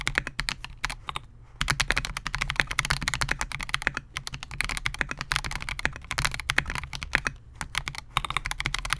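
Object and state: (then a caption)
Mechanical keyboard, plastic case and keycaps. Fingertips of both hands type continuously on a Melgeek MOJO68, a compact 68-key mechanical keyboard with Gateron G Silver Pro switches, a clear polycarbonate case and SA-profile plastic keycaps, resting on a desk mat. Rapid, bright, short clacky keystrokes run together with only a brief pause near the start, over a faint low hum.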